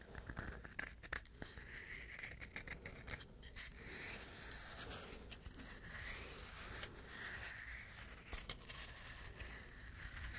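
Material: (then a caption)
Coconut shell. A hollow, dry, hand-sized coconut shell half, brown and fibrous outside and smooth inside, is scratched and tapped with the fingernails. Quiet, dry scratching and scraping runs throughout, broken by short, sharp tapping clicks that stop almost instantly. The sound is bright and hissy, over a faint low rumble.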